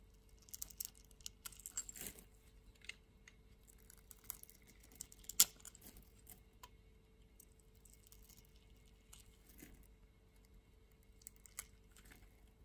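A palm-sized solid pink bar of soap is held in the hand and shaved with a metal utility-knife blade, peeling off fine curls. Quiet, bright, crisp scraping and scratching comes in short bursts, with one sharper, louder cut partway through over a faint steady hum.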